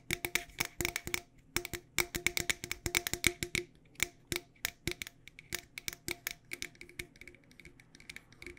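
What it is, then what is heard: Metal tea tin. A medium, decorated, hollow cylindrical metal tea tin for loose tea is held in both hands and tapped with long dark nails on its sides and lid. About forty quick, dry, metallic taps come in irregular bursts, each with a bright ring near 2.2 kHz that dies away almost at once.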